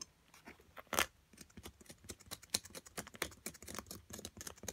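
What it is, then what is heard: Plaster block scraped with a metal pick. A small metal carving pick repeatedly scrapes a solid white plaster excavation block held in long-nailed fingers. It makes steady, bright, dry scratching in many quick, short strokes, with one louder scrape near the start.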